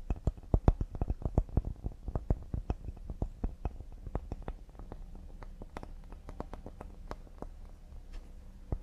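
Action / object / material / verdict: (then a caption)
tap / cedar wooden serving board / cedar wood / none. A cedar wood serving board is tapped quickly and delicately with the fingertips. The result is a rapid, uneven patter of short, dull, low knocks that die away almost at once, each with a faint bright click on top, and the taps grow softer toward the end.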